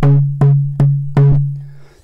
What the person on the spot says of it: Royal Blackwood again. That's a bit higher.